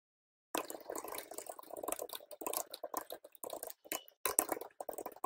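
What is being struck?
Plastic computer keyboard.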